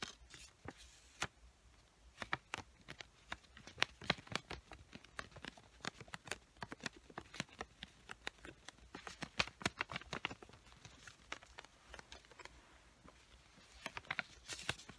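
Long white-painted nails tap and scratch the top sheet of a small square pink paper sticky note pad, a solid paper stack held in both hands. The result is a quiet, rapid series of dry, bright clicks with short scratchy rustles between them, each tap dying away almost instantly.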